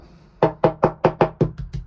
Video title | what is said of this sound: 😭When ONE problem turns into TEN!! *MORE HOLES* - 37 Year Old Hallberg Rassy 352 -Sailing Joco EP94 | it's just here it sounds Hollow it's just right here but yeah basically surrounding this beam